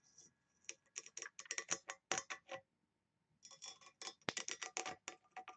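Long nails scratch the engraved lid of a small, hollow engraved brass box with a ring handle. The result is a quiet run of quick, bright, dry scratching bursts, then a brief pause, then a second run, with each stroke dying away almost instantly.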